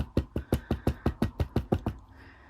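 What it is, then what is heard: Plastic championship belt side plate. The plastic side plate of a replica Raw championship belt is tapped 11 times in a steady rhythm, giving dull, short knocks with a low thud and almost no ring. The hollow, muted sound shows the plate is plastic rather than metal like the belt's main plate.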